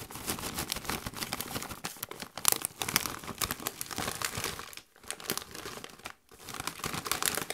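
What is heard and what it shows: A Doritos chip bag of metallized plastic, partly full of chips, is shaken and crinkled by gloved hands. Dense, bright crackling and rustling runs throughout, with short near-silent gaps around 4.9 and 6.2 seconds before the crinkling resumes.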